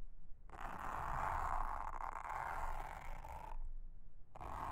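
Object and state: Silicone honeycomb trivet mat.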